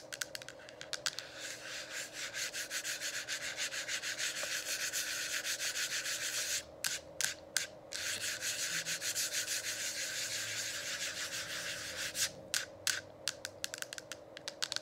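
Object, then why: Plastic diffuser dome cover. Long acrylic nails rub and scratch a hollow, lit plastic diffuser dome cover. A steady, bright, hissy rasping runs almost continuously, broken by a few short gaps with sharp scratch strokes near the middle. Near the end it turns into separate quick scrapes and taps.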